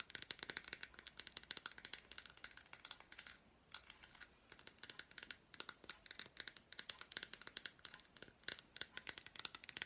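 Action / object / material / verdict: tap / milk chocolate bar with fruit pieces / chocolate / none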